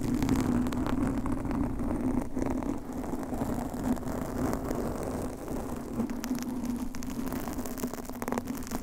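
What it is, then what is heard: Foam microphone windscreen being scratched. Long manicured nails of both hands scratch and rub a large, rounded, soft and porous blue foam windscreen on a microphone. The result is a continuous, dense, crackling rustle with a steady hum near 250 Hz and low rumble underneath, staying at an even level throughout.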